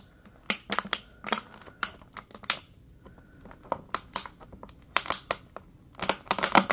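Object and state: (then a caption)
Plastic water bottle. A small, clear, thin-walled plastic water bottle with a label and an open neck, hollow and apparently empty, is squeezed and crinkled by latex-gloved fingers. Sharp, bright crackles and pops come in irregular bursts, some quick and isolated and others clustered, with quiet gaps between them.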